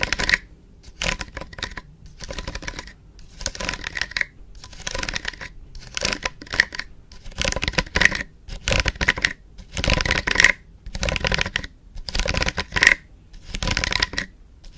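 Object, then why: Round hairbrush with metal barrel and plastic bristles. Long painted nails scratch and flick across the black plastic bristles of an orange round styling hairbrush with a hollow metal-look barrel, held close to the mic. Dry, bright crackling and scratching comes in irregular bursts separated by short silences, with occasional sharp bristle flicks.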